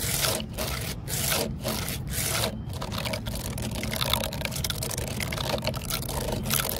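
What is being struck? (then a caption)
Weathered wooden post. Long fingernails and fingertips scratch and rub along the grain of an upright, solid, grey weathered wooden post or stump with deep vertical grain cracks, standing outdoors on paving. Bright, dry rasping strokes come in short bursts with brief pauses at first, then blend into a denser, continuous scraping over a steady low background rumble.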